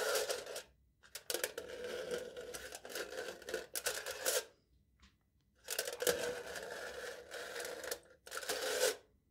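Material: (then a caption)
Aluminium foil. A metal knife tip repeatedly pokes and scratches crinkled, embossed aluminium foil wrapped tightly over the top of a hollow cup held in one hand. Bursts of bright, crackly scraping with a hollow ringing tone near 480 Hz are separated by brief silences.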